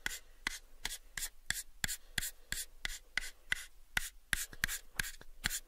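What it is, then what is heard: Light wooden box. A pale, light wooden box held in both hands is scratched and rubbed along its faces and edges by fingernails. The result is 18 short, dry, separate taps and scrapes with bright, hissy tops, a tone around 1.6 kHz, and almost no ring, with faint rubbing between them.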